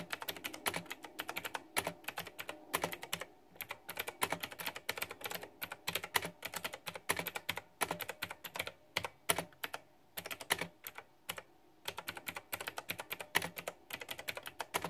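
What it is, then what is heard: Plastic mechanical keyboard being typed on. Very fast typing with fingertips and long nails on a white, backlit, pink-flower-themed plastic retro mechanical keyboard with round typewriter-style plastic keycaps. It produces a dense stream of short, bright, clacky keystrokes with almost no low end and brief pauses between bursts.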